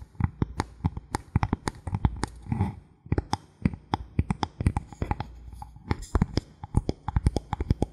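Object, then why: Thin bamboo board. Fingernails tap and scratch quickly across a thin solid bamboo board held at an angle. Rapid dry, sharp clicks with a low, hollow thump come in fast bursts, broken by a short scratchy rub and a brief pause near the middle. Each tap dies away almost instantly.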